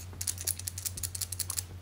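A Pentel Super Multi 8 multi-function lead holder is shaken, and the spare leads, which sit loose in a storage space inside the barrel rather than being fixed in place, move around and make a light, bright shaka-shaka rattle of about ten quick clicks over a steady low hum. The rattle is judged bothersome and a bit cheap-feeling.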